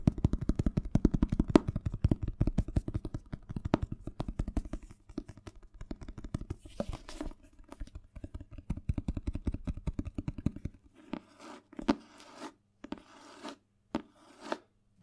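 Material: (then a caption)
Cardboard, paper. Fingertips and nails scratch and tap the glossy printed cardboard cover of a medium-sized hardcover Spanish dictionary with a solid block of paper pages, held up in one hand close to the microphone. Dense, rapid, soft tapping and scratching with a low, muffled body runs for about eleven seconds. It then thins out into sparser, brighter taps and scrapes separated by short quiet gaps.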